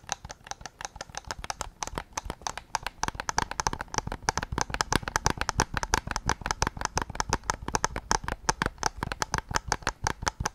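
Fingertips tap rapidly and irregularly on the hollow plastic shell of a white PS5 controller, on its back side. Each tap is a short, dry click with almost no ring, with a hollow midrange knock, some low thump and a bright edge. The taps come in a dense, uneven stream throughout.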